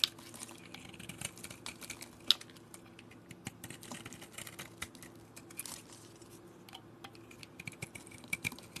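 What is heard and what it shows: A metal blade scrapes crumbly flakes off a solid white bar of soap held in the hand. Quiet, bright, dry crackles and crisp ticks come at an irregular pace, with a few sharper snaps over a faint low steady hum.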